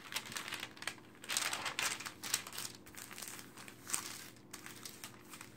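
Both hands with long painted nails quickly flip the pages of an open glossy paper magazine on a table and smooth the paper spread flat. The result is bright, high rustling and crinkling in quick, uneven bursts, with almost no low end and very little ring after each sweep.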